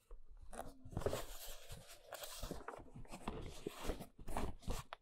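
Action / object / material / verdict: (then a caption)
scrape / large corrugated cardboard box / cardboard / none. Long nails scratch and tap across the surface and edges of a large, hollow brown corrugated cardboard box. The result is a steady, dry crunchy scratching with quick, short taps that die away almost instantly, mostly low and hollow in tone, with thin bright scraping streaks over the top.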